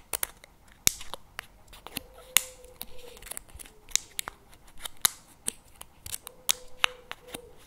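Fingernails tap and scratch the plastic lid and rim of a paperboard CremaNovi chocolate spread tub held tilted in both hands. Sharp, bright, dry clicks are heard with almost no ring, along with soft scratching and a faint steady tone near 500 Hz at times.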